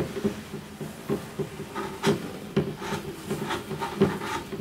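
A white-gloved hand rubs, strokes and lightly taps the hollow wooden body of a double bass near the bridge and top, while bare fingertips with painted nails rub its lower body beside the strings and f-holes. Soft, dry rubbing and brushing runs throughout, broken by three louder, short wooden taps with a brief, warm, mid-low resonance. The strings may vibrate slightly.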